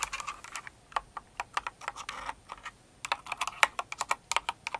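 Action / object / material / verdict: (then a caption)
tap / plastic mechanical keyboard / plastic / none. Long nails type on the plastic keycaps of a full-size, Cinnamoroll-themed kawaii mechanical keyboard. Crisp, bright clicks and clacks come in uneven bursts, with a brief pause partway through. Each keystroke is short and dry, with almost no low end.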